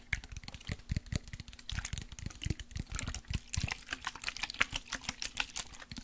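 A partly full clear glass bottle of orange body mist with a silver cap is tapped with fingertips and nails and shaken side to side. Quick, dense clicky taps produce bright ticks over soft low thumps, with the liquid sloshing inside. A faint steady low hum runs underneath throughout.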